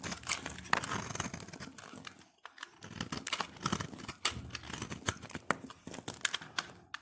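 A solid cream-white soap bar held in the hand is scraped with a utility knife blade, shaving off powdery flakes. The scraping comes as a quick, irregular run of dry, crackly scratches and sharp little clicks with a bright, papery edge and almost no ring, broken by a brief near-silent pause around the middle.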